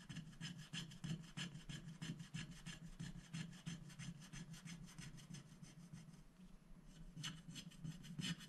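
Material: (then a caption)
Coated paper. A wooden stick scratches the black coating off a thin, flat scratch-art sticker sheet of black-coated paper lying on a glass board, while a hand holds the sheet steady. The rapid, uneven strokes make a dry, bright rasping scrape with a low hum underneath, and there is a brief quieter pause near the end.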